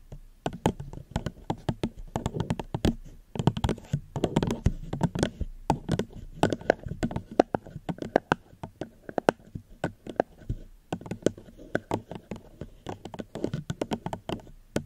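Fingertips gently tap on a plastic cup held close to the microphone, producing a steady stream of quick, dry, hollow taps. The taps are soft and low-weighted with a faint mid tone and almost no ring, with brief pauses between bursts.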